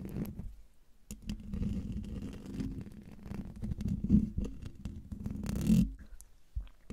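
Fingertips and nails scratch and rub the hollow domed metal mesh grille of a silver microphone, making a close, muffled, low rumbling scrape with a steady hum near 210 Hz. Irregular brushing strokes swell and fade, with a louder scratching burst near the end before the sound thins out.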